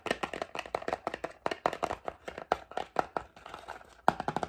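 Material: Cardboard.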